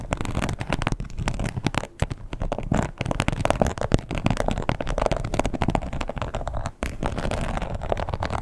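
Long pointed acrylic nails of both hands scratch and tap fast on a red croc-embossed leather wallet lying flat and closed with a strap. The result is a dense, continuous crackling rustle of quick, dry, short-ringing taps, heavy in the low range, with brief pauses near 2 and 6.8 seconds.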